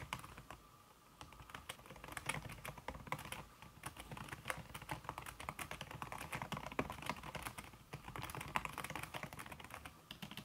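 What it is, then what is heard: Silicone-covered laptop keyboard. Fast typing on a backlit aluminium laptop keyboard fitted with a solid red silicone key cover, the fingertips and long red-painted nails tapping the keys. A dense, steady stream of short, soft taps carries crisp, bright clicks, with a brief lull near the start before the rapid typing resumes.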